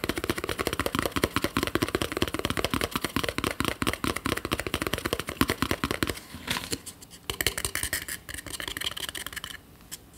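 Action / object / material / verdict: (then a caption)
tap / small plastic screw lid / plastic / none. A small, round, hollow yellow plastic screw lid, held alone in the hands, is tapped and scratched with fingernails on its top and rim. A rapid, dense stream of light, hollow plastic clicks runs for about six seconds, then gives way to sparser, quieter taps and bright scratching.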